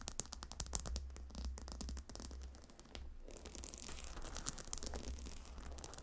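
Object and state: Stone tiles of a heated gemstone pillow, tapped and scratched with nails.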